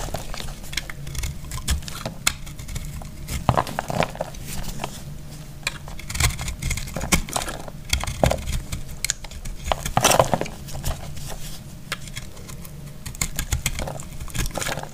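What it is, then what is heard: Dry soap block being cut and scraped. A metal blade cuts and scrapes a solid, dry recycled green soap block, and crumbles fall away. Dense, dry crackling scrapes and crisp crunches repeat throughout, with sharp bright edges over a soft low-end body.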